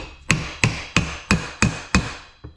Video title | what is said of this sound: Pool pump bearing change Polaris Spa, Pool or Booster Pump made by Century, Hayward and China. | that high pitch tick tick bearing is all the way on